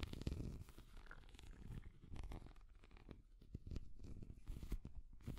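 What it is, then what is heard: Hard plastic cat figurine. A small, translucent orange hard plastic cat figure is held close to the microphone and tapped and scratched with long nails. The result is a quiet, continuous stream of soft, muffled scratching and rustling, mostly low and rumbly, with brief taps and crackles rising out of it.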